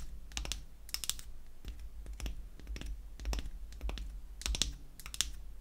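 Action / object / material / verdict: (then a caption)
tap / small wooden lipstick-shaped cylinder tapped with fingernails / wood / none. Long acrylic nails tap and scratch a small, unfinished light-wood cylinder shaped like a lipstick, with a cap seam, held in the hand. Sharp, bright clicks come in irregular clusters over faint scratching, each click dying away almost instantly, with a steady low hum underneath.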